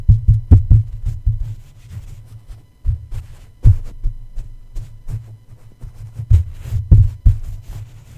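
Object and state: Microphone mesh grille tapped with a plush toy.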